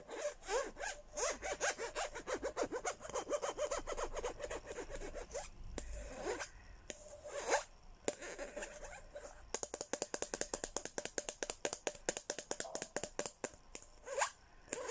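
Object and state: Plastic cup.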